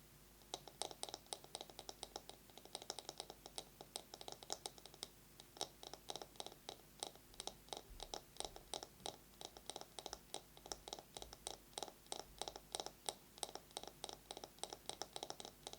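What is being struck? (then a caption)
Bamboo massage brush. A bamboo massage brush is tapped rapidly with long nails and scratched, giving a quiet, steady stream of sharp, dry, bright clicks that die away almost instantly. A faint scratchy hiss runs underneath throughout.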